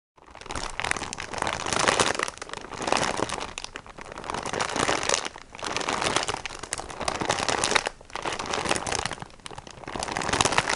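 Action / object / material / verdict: scrape / plastic-wrapped kitchen sponge pack / plastic film / none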